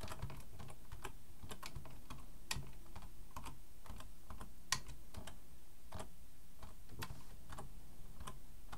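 Both hands type with their fingertips on a black plastic full-size computer keyboard resting on a wooden desk. Quick, irregular clicks and taps of keys being pressed come in a steady stream, some louder and brighter than others, over a constant low rumble.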